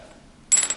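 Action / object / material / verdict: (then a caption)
tap / synthetic guitar nut / synthetic polymer / none. A GraphTech Black TUSQ XL synthetic guitar nut is tapped twice, giving bright, high-pitched clicks with a short, glass-like ring. It sounds higher-pitched than a plastic nut, almost like glass.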